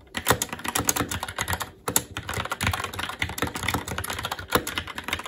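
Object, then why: Mechanical keyboard with plastic keycaps on a metal plate. A SteelSeries Apex 7 TKL mechanical keyboard with Red switches, black plastic keycaps on a metal plate, and a hollow RGB-backlit case rests on a desk while the fingertips of both hands type continuously. A fast, steady stream of sharp, bright plastic clacks with a hollow low thump beneath each keystroke pauses briefly near the two-second mark, then resumes just as busily.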